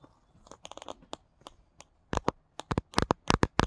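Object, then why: Paperback book with glossy card cover. Fingertips with paperclips slipped over the nails tap and scratch the glossy card cover of the paperback book *Charlie Anderson*. About 16 short, dry clicks and crunchy scrapes come in an uneven rhythm, soft and sparse at first, then louder and denser in the second half. Each one is brief with a bright top and dies away at once.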